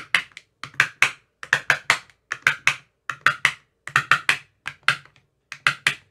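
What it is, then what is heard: Plastic ice cube tray tapped. An empty clear plastic ice cube tray with green silicone cell bottoms, held by the fingertips, is tapped in its cells with a thin metal rod. About two dozen short, bright clicks come in quick clusters of two to four, each dying away almost at once with a faint low thump underneath.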